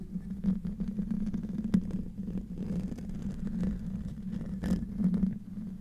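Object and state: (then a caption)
Metal mesh microphone grille being scratched. Short nails and fingertips of both hands scratch the hollow metal mesh grille of a silver condenser microphone. The scratching comes through as a dense, boomy rumble with a steady low hum and rough crackling, broken by a few sharper clicks.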